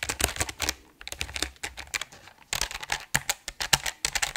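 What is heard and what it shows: A full-size RGB mechanical keyboard with plastic keycaps on an aluminum plate, held upright, is typed on quickly with the fingertips of both hands. The result is a fast run of short, bright, clicky keystrokes with almost no ring, broken by a brief pause near the one-second mark.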